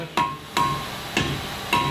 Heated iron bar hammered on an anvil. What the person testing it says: It's a nice dull sound. Not a ringing sound.